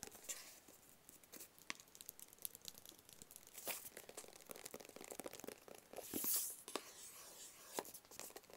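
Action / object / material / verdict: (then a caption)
tap / small closed cardboard box / cardboard / none. Fingertips tap and scratch a small, closed, hollow black cardboard gift box. The result is a quiet run of dry, bright ticks and papery scratching with almost no low end, swelling into a louder scraping rustle around the six-second mark.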